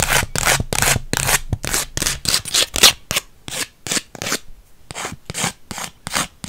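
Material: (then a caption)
Paper, plastic. Long white acrylic nails scratch along the face and edge of a small, flat, textured purple Polaroid instant photo with a white frame, made of paper and plastic. The result is a quick, uneven run of bright, hissy, rasping strokes with almost no ring, separated by brief pauses.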